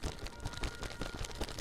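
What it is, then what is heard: Sealed plastic bag of liquid protein drink being shaken. A sealed plastic bag with a rolled top, holding chocolate protein drink powder mixed with water, is shaken vigorously for a minute. Repeated dull, low sloshing thumps rise and fall in a rapid rhythm, with a soft wet rustle from the plastic between them.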